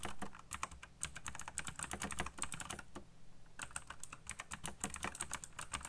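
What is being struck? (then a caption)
Plastic mechanical keyboard. Fingertips type very fast on a backlit black plastic mechanical keyboard with RGB lighting and hollow key switches. The result is a dense run of sharp, bright clacks over a low hum, with a brief lull near the middle before the rapid tapping resumes.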